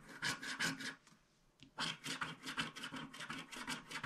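A wooden stick scratches off the last black spots at the bottom left of a small, flat paper scratch art card with a black wax coating, held in one hand. Quick, dry, raspy scratching strokes with a bright hiss come in bursts, pause briefly with a short faint squeak, then resume in a steady, uneven rhythm.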